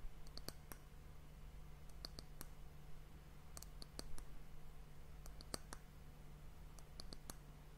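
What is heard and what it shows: Long fingernails tap and scratch the flat top of a solid, glossy brown wooden end cap on a glass hourglass. Quiet, sharp, bright clicks come in small clusters and stop instantly. A steady low hum runs underneath throughout.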